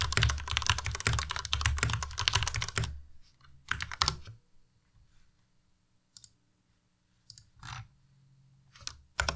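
Fingertips type rapidly on a white, compact Ducky Miya Pro mechanical keyboard with plastic keycaps, making a dense run of bright, clacky key strikes with a low thock underneath for about three seconds. A brief burst of keystrokes follows, then scattered single key presses separated by near silence until the end.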